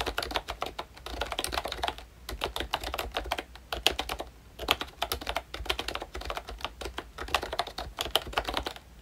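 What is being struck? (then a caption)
Plastic membrane keyboard with round keycaps. Fingertips of both hands type steadily on a full-size pink ROYCHE Disney Mickey Mouse retro keyboard, with a plastic case, round dark green plastic keycaps and membrane switches. Quick, bright, clacky taps run in dense bursts with brief pauses between them, each tap short and dry with almost no ring.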